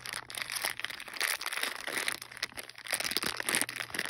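A small sealed clear plastic bag holding green and teal plastic wall clips and a cardboard backing card is held in the hand and rubbed and squeezed with fingertips and long painted nails. It gives off a steady run of bright, crisp crinkling and crackling with almost no low end, each crackle stopping almost at once.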